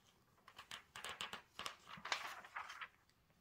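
Bare fingertips turn and smooth down the thin glossy pages of an open celebrity magazine lying flat on a cloth-covered table. A quiet, uneven run of crisp, bright rustles and crinkles follows, each short swish dying away quickly.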